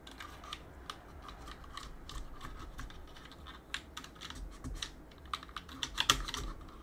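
A gloved hand scratches a cotton swab along the gaps between the plastic keycaps of a backlit mechanical keyboard on a metal plate, then presses the keys. A steady, soft, bright scratching runs throughout, broken by short, sharp plastic clicks that grow more frequent and louder toward the end.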